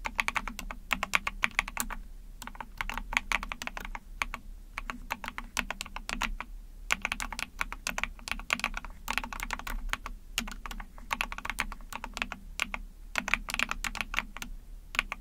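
A small 44-key mechanical keyboard, the Epomaker TH40, with an ABS plastic case, PC plate and backlit pink and white keycaps, is typed on rapidly with long painted nails and fingertips. Bright, clacky keystrokes tumble out in fast bursts separated by brief pauses, each click short and crisp over a faint low hum.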